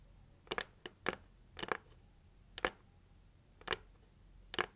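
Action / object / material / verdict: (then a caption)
tap / cardboard gift box lid / cardboard / none. Long acrylic nails tap the lid of a hollow pink printed heart-shaped cardboard gift box. Short, dry, clicky taps come in irregular pairs and singles, each dying away almost instantly over a quiet background.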